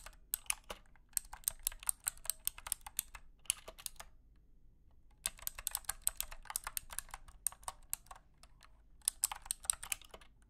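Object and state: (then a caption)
Clicky mechanical keyboard. Fingertips type on a compact wired mechanical keyboard with a plastic case, light blue plastic keycaps and clicky switches. Rapid bursts of sharp, bright clicks stop dead with almost no ring. The typing pauses briefly around the four- and eight-second marks before resuming.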